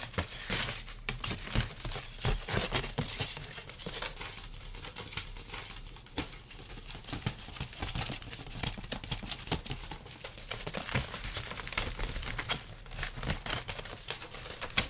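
An open, carved, light wooden folding fan has its thin slats tapped and scratched with fingertips and nails close to the microphone. The result is a dense run of quick, dry clicks and crinkly scratching with bright edges and a low, soft body.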